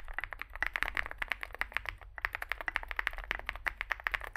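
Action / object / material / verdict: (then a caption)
tap / mechanical keyboard with plastic keycaps / plastic / none. Fingertips type continuously on a small 65% Zoom65 mechanical keyboard with a dark case and white and grey plastic keycaps. About thirty short, bright clacks come in quick succession, each dying away almost at once, with a brief pause near the middle.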